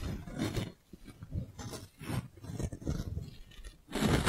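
A clear, thin, hollow plastic magic balloon bubble about the size of a fist is held in the hands and rubbed with the palm and fingers. It makes repeated, close squeaky scraping and crinkling bursts with a heavy low rumble and brief bright rasps. The clip ends on a loud, full rub.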